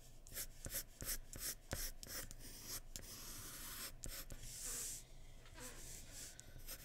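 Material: Paper.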